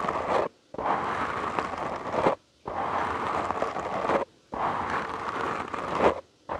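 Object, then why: Foam microphone windscreen. Short nails and fingertips scratch a soft, porous black foam windscreen on a studio microphone. Dense, close-up crackling scratches come in long bursts of about one and a half seconds, with brief silent pauses between them. The rustle is broadband, strongest in the mids, and reaches up into the highs.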